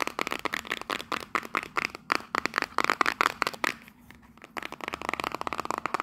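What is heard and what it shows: A small, hollow printed cardboard souvenir box, held in both hands, is tapped and scratched quickly with long nails on its faces and edges. The result is a rapid run of short, dry, papery clicks and scrapes with a bright, mid-high tone and almost no low end. The sounds pause briefly just before the four-second mark, then resume.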